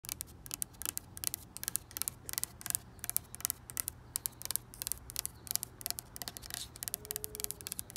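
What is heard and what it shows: Long pink acrylic nails tap and scratch the flat top board of an outdoor white-painted wooden deck railing, which is solid with visible grain and cracks. A rapid, uneven series of sharp, bright clicks and short scratches, each dying out almost instantly, plays over a faint low background hum.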